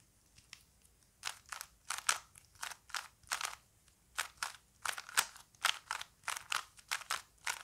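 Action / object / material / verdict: scrape / plastic puzzle cube / plastic / none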